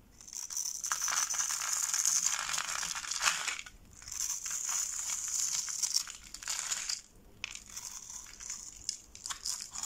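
A metal box-cutter blade scrapes and shaves a hand-held, solid rectangular bar of dry pink soap with red dye spots, pre-scored in a grid, into small crumbly cubes that fall onto the table. Dense, bright, crunchy scraping comes in three long strokes with brief pauses between them. The sound has almost no low end and is mostly high hiss and crackle.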